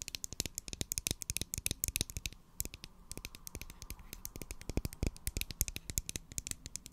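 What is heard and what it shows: Long acrylic nails rapidly tap the sides and cap of a large white plastic Pritt glue stick, a hollow cylindrical tube with a cap, held in hand near the mic. The result is a dense stream of sharp, dry, bright clicks with a hollow low knock beneath, each dying away almost instantly. The taps briefly thin out before picking back up.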